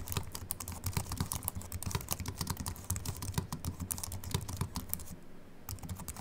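Both hands type with their fingertips on a slim Apple Mac keyboard with an aluminium body and white plastic keys, resting on a wooden desk. A fast, steady stream of short, bright key clicks sits over soft low thuds, with a brief quieter gap near the end before the typing resumes.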